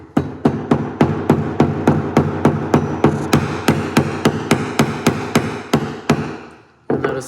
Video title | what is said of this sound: Trying To Rebuild Bosch Pink Top Injectors | tap it in notice the sound change that means it's flush